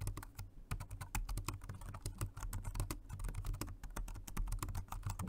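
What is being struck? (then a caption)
Plastic low-profile keyboard. Steady two-handed fingertip typing on a Jelly Comb dual-mode rechargeable 2.4G wireless and Bluetooth multi-device keyboard, a dark grey plastic low-profile model with round keys. Rapid, short plastic clicks and taps with bright tops sit over a constant low hum that carries most of the energy. The keystrokes die away almost instantly.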